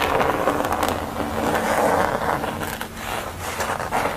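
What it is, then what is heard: Paper artwork on board. Long nails scratch and tap the textured orange area of a flat paper portrait on a thin board lying on a towel. The result is a steady, crisp, papery scratching concentrated in the midrange, broken by a few brief sharper taps.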